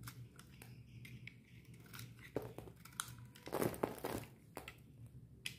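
A dry, solid green bar of soap with a red painted coat is held in the hand and shaved with a metal utility knife blade. The clip is a run of crisp, crinkly scraping and crunching cuts over a low steady hum, with the densest, loudest shaving near the middle and a final sharp scrape at the end.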